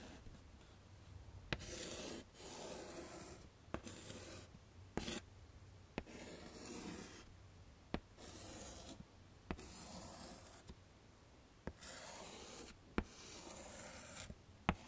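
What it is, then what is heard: Chalk writing on a framed chalkboard. A stick of pink chalk is scraped across a small, flat black chalkboard in a wooden frame to write letters. Short bursts of bright, scratchy rubbing alternate with brief pauses, punctuated by about a dozen sharp clicks as the chalk touches the board. The sound stays quiet throughout.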